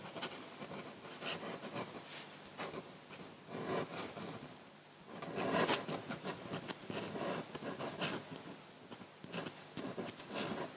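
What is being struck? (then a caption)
Metal pen nib on paper sheet. A metal dip-pen nib scratches quick ink strokes across a flat sheet of white drawing paper, heard close-up. Short, dry, raspy scrapes come in bursts with bright, hissy highs and little low end, separated by brief quieter gaps.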